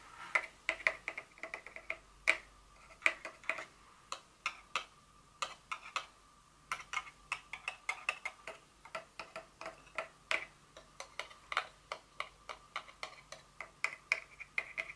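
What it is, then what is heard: Cardboard box insert tapped with fingernails. Very long fingernails tap on the small, hollow, white folded cardboard inner insert of a Dior perfume box. About fifty quick, dry, bright clicks come in an uneven stream, each dying away almost at once.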